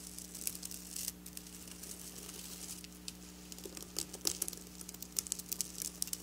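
Long black nails scratch across flat silver sequin fabric, making quiet, bright, crisp scratching and ticking sounds. The sounds come in quick bursts that grow busier and sharper toward the end, over a steady low hum.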